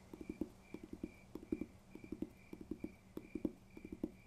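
A paper textbook is tapped in quick, uneven clusters of about 19 light, dull knocks. Each tap is short and muted with almost no ring, and the taps sit in a low-mid register.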